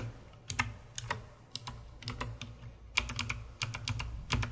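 A full-size COX CK900 S2 mechanical keyboard with white plastic keycaps and a dark plastic case is typed on rhythmically by fingertips with long red-painted nails. The result is a series of sharp, bright, clacky keystrokes with a hollow, low plastic thud beneath each press, separated by brief quiet gaps.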